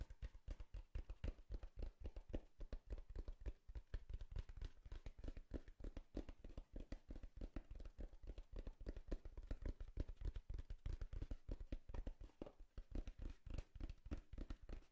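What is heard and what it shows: Long fingernails rapidly tap and scratch the surface of a small, hollow, brown corrugated cardboard box held at the lower right. The result is a quiet, steady stream of dull, low, hollow thuds with very short decay, mixed with soft scratching, running continuously for about 15 seconds.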